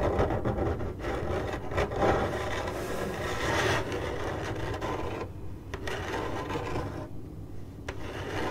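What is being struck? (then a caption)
Corrugated cardboard box. Long glittery acrylic nails on one hand scratch the surface of a hollow, printed corrugated cardboard box. The result is a steady, dry, rasping scrape with a low hollow rumble underneath. Brighter bursts come in the first half, and short quieter dips follow later.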